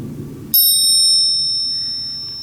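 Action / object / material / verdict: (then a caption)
strike / coin struck against a silver coin / metal / fake. A counterfeit 2017 Silver Eagle is tapped once against a genuine silver coin in a ring test. The strike gives a thin, very high-pitched ring of several steady tones that fades slowly over about two seconds. It sounds much different from a silver-on-silver ring, marking the coin as fake, a verdict confirmed by other tests.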